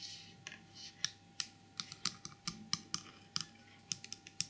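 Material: Porcelain.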